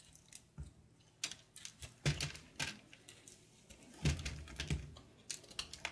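A small patterned knife slices and scrapes brittle flakes off a solid, hand-held chunk of dry blue-and-cream marbled soap. It makes crisp, crackly cuts at an irregular pace, each a short snap with a bright, gritty edge and a soft low thump, with quiet scraping between them.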